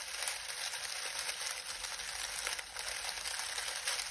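Fingertips knead and crush a pile of dried lemon balm leaves. A steady, bright, dry crackling and crinkling rustle runs throughout with almost no low end, dipping briefly before continuing.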